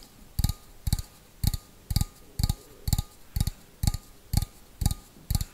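Fingernails tap the outside wall of a small, hollow, empty stainless steel bowl held on its side, in a slow, steady rhythm of about two taps per second. Each tap is a short, dull low thump with a brief bright metallic tick on top that dies away almost at once.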